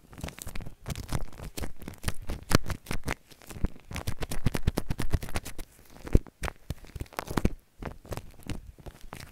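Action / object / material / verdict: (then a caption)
scrape / shaving cream foam on plastic wrap / foam / none. Fingertips press into and smear a spread-out pile of white shaving cream foam on plastic wrap. The result is a dense stream of soft, wet crackling and crinkly squishes, with frequent short bursts and brief pauses throughout.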